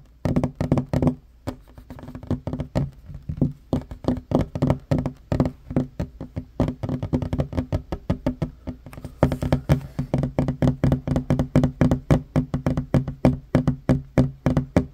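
Knuckles and fingertips of both hands tap quickly and unevenly on a flat, solid wooden table top. The result is a rapid stream of dull, low, knocking thuds that die away almost instantly.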